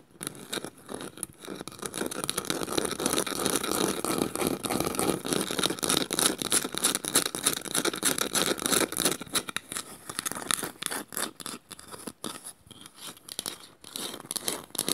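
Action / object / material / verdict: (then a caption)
scrape / small woven bamboo bowl / bamboo / none. Long nails scratch the underside of a small, hollow woven bamboo bowl, producing a dense, rapid, bright scraping with a high, hissy texture. The bowl is then turned over and its painted inside is scratched, and the strokes become sparser and more broken.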